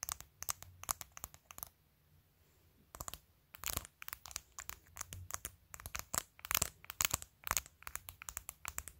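Long nails tap and scratch a clear glitter plastic phone case covered with acrylic press-on nails while the phone is held in hand. Bursts of sharp, bright clicks and crackly scratches come in rapid runs, with a brief quiet pause near the two-second mark. Each hit is dry and stops at once.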